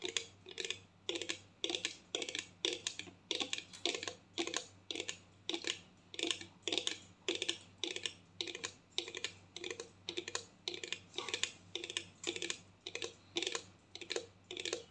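Long painted nails tap a clear plastic mouthwash bottle, partly full of blue liquid and held sideways. The result is a steady stream of quick, bright, clicky taps in loose, uneven bursts, each dying away almost at once over a faint, steady low hum.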